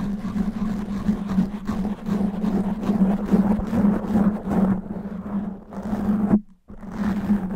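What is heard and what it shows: Long natural nails slowly scratch and grip a black foam microphone windscreen, making a dense, rustling, crackly scrape that carries steadily over a low hum. The sound briefly cuts to silence near the end before the scratching resumes.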